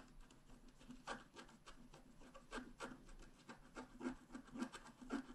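A wooden stylus scratches across a thin, flat, black-coated scratch art card. Quiet, dry rasping strokes come in an irregular rhythm, each a short broadband scrape with a faint low-mid tone and bright edges. The scraping continues steadily throughout.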